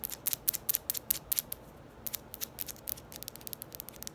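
Long nails tap and scratch a small red ball, hard plastic by appearance, held close to the microphone. About 25 quick, bright clicks come in irregular bursts with soft scratching between them, each click dying away almost instantly. The sound stays quiet and crisp, with little low end.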